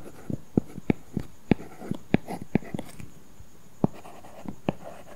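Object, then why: Stylus on a tablet glass screen with a matte plastic film. A stylus tip scratches across an iPad's glass screen covered with a paper-feel matte plastic film while writing letters. Fourteen short, dry tapping strokes sound over a faint hum, each low and woody around 200 Hz with quick scratchy edges that die away almost at once.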